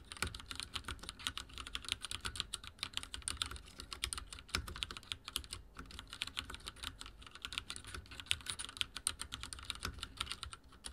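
A full-size backlit mechanical keyboard with dark plastic keycaps and linear switches sits on a wooden desk as keys are pressed rapidly with the fingertips of both hands. It produces a steady stream of short, bright clacky taps centered around 3 kHz with a soft low thump under each stroke. Each tap dies away almost instantly.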